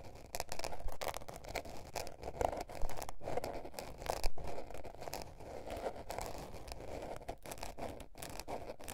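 Long painted nails scratch and tap a small blue patterned spiral-bound notebook with a paper cover, a solid stack of paper lying flat on fur. The result is a dense, uneven run of dry papery scratching and crackly rustle, with short soft taps and brief louder bursts scattered through it.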